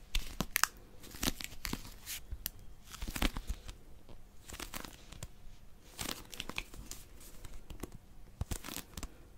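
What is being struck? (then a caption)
Small paperback dictionary, possibly plastic-wrapped. Long nails grip and scratch the cover of a small blue Oxford paper pocket dictionary, a solid paper book possibly in plastic wrap. Sharp, bright crinkling and crackling bursts come in irregular clusters over a faint low background, each click dying away almost instantly.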